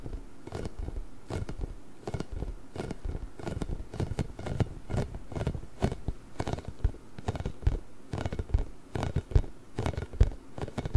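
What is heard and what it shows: A large pink, inflated, hollow rubber massage ball with small spikes is tapped and scratched with fingertips and nails. The result is a steady stream of soft, dry, low thumps mixed with light scratchy, crackling patter, each sound fading almost instantly with no ring.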